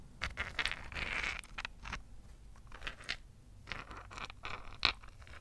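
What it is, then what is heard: Rose quartz crystal chunk. A large, solid, rough rose quartz chunk, held in both hands, is tapped and scratched with long fingernails across its faceted surface. Bright, scratchy scrapes mix with short, sharp clicking taps that die away almost at once, with a low background rumble underneath.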